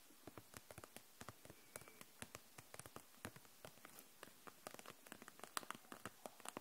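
Long nails tap along the caps of dual-tip markers and the sides of a clear plastic case full of them, held upright. About 32 quick, dry, bright clicks fall in an uneven rhythm over a quiet background. Each tap dies away almost instantly, with a light plastic tone around 1.2 kHz.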